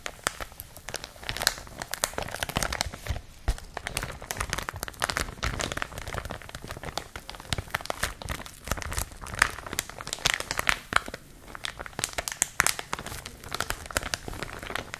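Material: Plastic.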